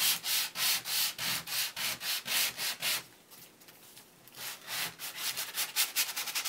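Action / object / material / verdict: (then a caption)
scrape / laminated cardboard board book page / cardboard / none. A hand-held sanding block is rubbed repeatedly across the printed surface of a glossy laminated cardboard board book page lying flat on brown paper. It makes bright, hissy scraping strokes in a steady back-and-forth rhythm. The strokes drop to faint, soft rubbing for about a second, then resume quicker and slightly uneven.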